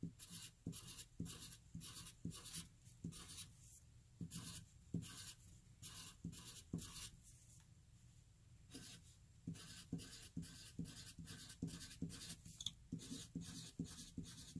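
A graphite pencil writes rows of e's over existing writing on a flat white paper sheet, the graphite scratching the paper. Quick, rhythmic scratchy strokes with a bright, papery rasp repeat steadily, with a softer, quieter lull in the middle before the strokes resume.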